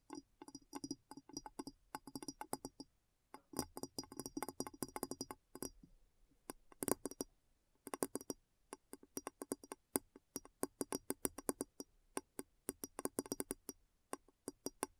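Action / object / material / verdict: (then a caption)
tap / upturned glass bowl / glass / none. Long nails on both hands tap and scratch the sides of a large, clear, hollow glass bowl turned upside down. The result is rapid bursts of short, dry clicking taps with a faint glassy tone and almost no ring. The bursts are broken by brief pauses and soft scratching.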